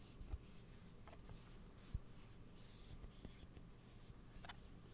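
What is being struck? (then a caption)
Closed steel kitchen scissors with plastic handles. Closed steel kitchen scissors with plastic handles, held horizontally near the mic, have their blade scratched with fingernails. The result is a quiet, soft scratching with faint high hiss over a low rumble, and two brief low thumps stand out.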